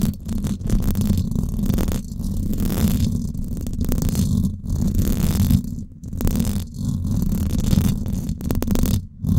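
Long acrylic nails scratch the hollow silver woven-wire dome grille of a Blue Yeti microphone. The result is a dense, continuous, low, rumbling scrape concentrated in the bass, with a faint bright hiss above it. It pauses briefly a few times and varies between faster and slower strokes.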